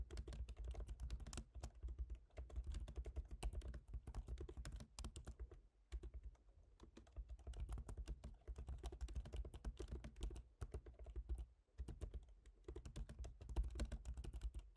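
Both hands tap with their fingertips on the plastic keys of a silver MacBook Pro's aluminium laptop keyboard. The result is a fast, steady stream of soft, short clicks with a low thumpy body and some high, bright edges. The typing pauses briefly about a third and three quarters of the way through.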